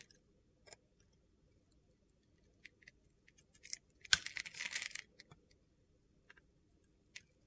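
A box-cutter blade scrapes and slices flakes off a palm-sized solid white soap bar with a silver glitter crust, held in hand. Sparse, quiet, high-pitched ticks and short scratches lead into a dense, crunchy, gritty scraping burst about midway, followed by a few more light clicks.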